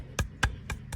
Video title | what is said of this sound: My Ram Gets A New Set Of Wheels And Tires | Make sure it sounds the same when you hit all the corners. You know it went in straight.